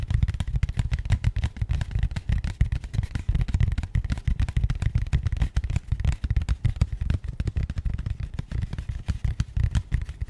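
A small, rigid, matte grey cardboard box, likely empty, is held in both hands close to the mic and tapped and scratched with long painted nails. The result is a steady stream of rapid, dull, low thuds with short scratchy clicks, each one dying away almost instantly, continuing for the whole ten seconds.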